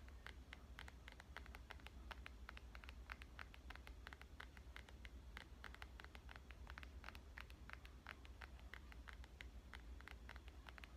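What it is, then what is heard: Glass and metal smartphone. Fingernails tap rapidly on the screen and back of a black glass and metal smartphone. Quick, short, bright clicks in a steady stream sit over a constant low hum, all at a quiet level.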